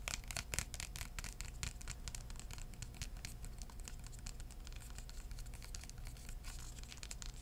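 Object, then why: Hardcover book cover. A hardcover book, held flat and then tilted, has its cover tapped with short-nailed fingertips. Quick, dry taps with bright clicks come over a steady low hum, and each tap dies away almost at once.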